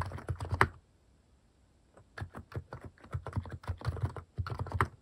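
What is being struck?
Mechanical keyboard with plastic keycaps.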